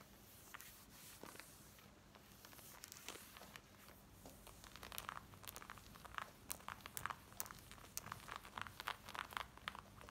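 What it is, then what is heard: Denim jeans being scratched. Long nails fast-scratch the back and front waistband of worn black denim jeans. The result is a dry, bright scratching rustle that starts soft and steady, then turns into dense bursts of sharp, crisp scrapes in the second half, over a faint low hum.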